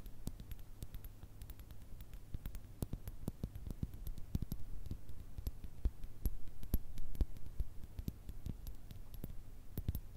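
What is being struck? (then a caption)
Small glass jar with contents. Long red nails tap rapidly and irregularly on a small clear glass jar holding small pink paper or stick items that can shift inside. The result is a quiet stream of short, dry clicks with almost no ring, over a faint, steady low hum.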